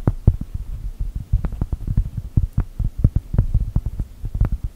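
A solid, round cork coaster printed to look like a cookie is tapped and scratched with long gel nails. A quick, irregular run of soft, dull taps is heard with faint scratching between them. Each tap is a short, muffled thud with almost no ring, and the sound stays low-pitched and bassy throughout.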